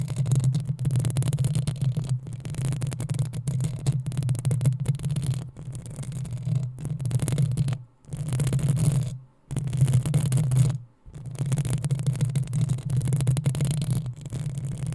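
Long acrylic nails of both hands scratch and tap the hollow, rounded metal mesh grille of a black USB condenser microphone. The result is a dense, continuous rubbing rumble with a strong low boom around 117 Hz and faint bright crackle above it. It drops out briefly three times in the middle before resuming.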